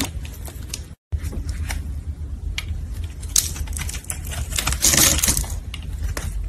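A solid red embossed soap bar held in gloved hands is chipped and cut with a metal blade, making a steady run of crisp, dry crunching and scraping clicks with a bright edge over a low rumble. A brief silent gap falls near the first second, and the cutting grows louder around the fifth second as pieces fall away.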